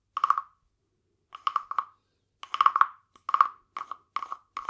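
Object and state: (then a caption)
Wooden frog guiro. A small hollow carved wooden frog guiro, painted glossy green with a ridged back, is held in one hand and rubbed and tapped along its ridges with a green wooden stick. It produces short bursts of dry, rasping clicks with a hollow, woody croak centered around 1.1 kHz. The clicks stop quickly with almost no ring, separated by brief silences.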